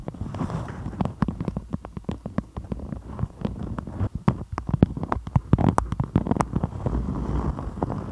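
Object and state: Beeswax-coated cotton food wrap.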